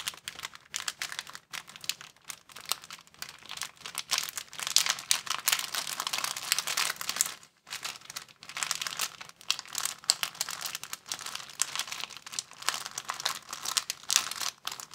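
An empty, thin clear plastic bag is crumpled and pulled open by both hands, producing dense, bright crinkling and crackling with almost no low end. The crackles come in rapid bursts with a brief near-silent pause midway before the crinkling resumes just as intensely.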